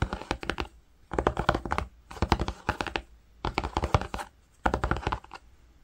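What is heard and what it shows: Fingertips with short nails scratch and tap across flat, grey-green woven cotton fabric while tracing words on the cloth. Five bursts of quick, dry, dull taps and scratchy strokes come in close succession, separated by brief quiet pauses.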